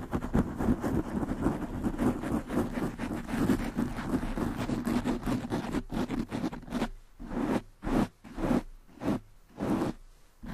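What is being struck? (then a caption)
Foam microphone windscreen. Long nails scratch and rub the sides of a black foam windscreen on a desktop microphone. For about six and a half seconds, a fast, dense, muffled scratching dominated by low-mid tones runs continuously. It then breaks into separate short rubbing bursts with brief silences between them.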